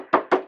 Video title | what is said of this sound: Watercolour Panel Demo | once it's totally dry, you can tap it, and it sounds like a drum, and it's ready to paint